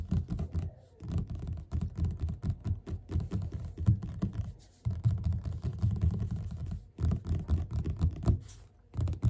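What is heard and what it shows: Both hands tap fingertips rapidly on the cover of a solid yellow paperback book lying flat. The result is dense bursts of soft, dull, low thuds with almost no brightness, broken by short pauses.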